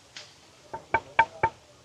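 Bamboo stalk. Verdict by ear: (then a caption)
Hollow. Knocks on a giant bamboo stalk in a botanical garden give five short, dry hits, the first faint and bright, then four louder wooden knocks with a clear ringing tone near 900 Hz that dies away almost at once. The knocks show the stalk is hollow.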